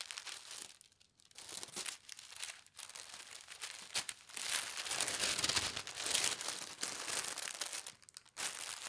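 Fingertips with red nails fold a pastel-striped tissue paper sheet into a rectangle, then press it and rub it flat. The result is a steady, bright crinkling and rustling with short crackling bursts and a few brief pauses.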